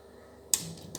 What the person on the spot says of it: могу его взять и потрясти даже слышно как они а болтаются